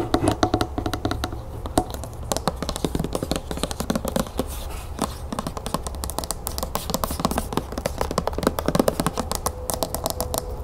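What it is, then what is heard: Plastic lotion bottle. Long nails tap quickly on the silver cap and body of a medium white plastic lotion bottle with a berry label, partly full, as it is held and tilted. The result is a steady stream of rapid, dry, short clicks over a low, constant hum, with no ring after each tap.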